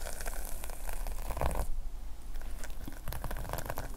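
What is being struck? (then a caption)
Plastic sequin fabric notepad cover. Fingertips brush and scratch the red plastic sequin fabric cover of a small notepad lying flat, then both hands hold it at the edges. Dense, crinkly, bright scratching rustles over a low, steady rumble. The texture briefly thins out at about the midpoint before picking up again.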